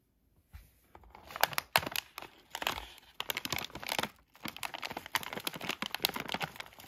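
A palm-sized yellow Halls cough drop bag of thin, crinkly plastic foil, filled with drops, is held and crinkled by fingertips with short nails and turned over to the back. After a brief near-silence, bright, dry crinkling rustles come in uneven bursts separated by short pauses, with little low end.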